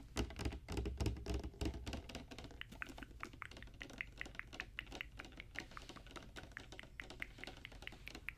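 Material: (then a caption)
Plastic. Long dark-painted nails tap rapidly on a tall clear plastic Barbie Color Reveal tube with a pink plastic cap, which holds a doll and is filled with pink opaque liquid or foam. The taps make quick, dry, keyboard-like clicks with bright, short edges. A deep low rumble sits under the first two seconds, then the clicks continue steadily over a quieter background.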